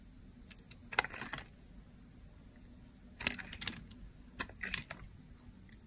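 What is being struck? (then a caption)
Bar soap cut with a blade. A utility blade slices a dry, teal-green solid bar of soap, sending flakes falling. Quiet, brief, bright crunchy cracks and crisp scraping clicks come in irregular bursts over a faint steady hiss, with almost no low end or ring.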